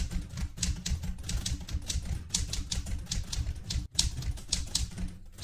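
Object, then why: Metal manual typewriter. Fingertips with red-painted nails type continuously on a vintage light blue portable manual typewriter with a metal body. Quick, bright key clacks come in a steady, uneven stream over a low, dense thump. There is a brief pause just before 4 seconds.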